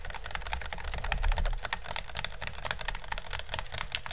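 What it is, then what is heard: Woven bamboo basket, hollow. A hollow, empty pink woven bamboo basket sits upside down over the microphone while fingernails tap and scratch fast across its woven strips. The result is a dense stream of quick, dry, bright clicks and scratchy rasps over a low rumble, with each tap dying away almost instantly.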